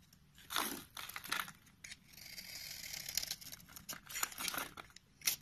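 A utility knife blade cuts slices from and scrapes the surface of a solid orange rectangular soap bar held in the hand. The strokes make crisp, bright crunching and scraping sounds with almost no low end, including one longer, steadier scrape in the middle.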